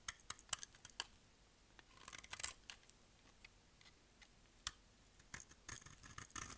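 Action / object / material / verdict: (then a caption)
scrape / bar soap cut with a knife blade / soap / none. A solid, pale yellow bar of dry soap held in the hand is shaved with a utility knife blade. Short, crisp, high-pitched scrapes and clicks come in scattered bursts, with denser runs of scraping near the middle and end. There is almost no low end, and each cut dies away instantly.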